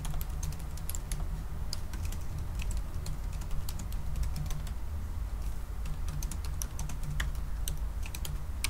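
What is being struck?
Aluminum laptop keyboard with plastic keys.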